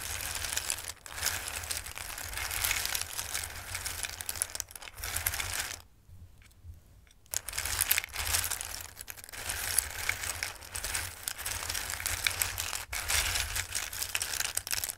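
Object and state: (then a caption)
Dry raw pasta. Both hands rake and rustle a bowl full of dried tricolore pasta with their fingertips, producing a dense, bright, dry clatter of many small pieces clicking and shifting against each other. The rustling runs almost continuously, with a brief near-silent pause around the middle before it resumes, over a steady low hum.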